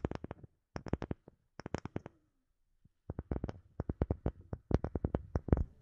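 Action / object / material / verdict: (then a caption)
tap / round wooden disc / wood / none. A palm-sized, round, light-colored wooden disc that looks solid is held over a microphone and tapped and scratched with long fingernails. Quick clusters of short, dry taps pair a low, hollow knock with bright clicky tops. After a brief near-silent pause, the tapping returns faster and denser.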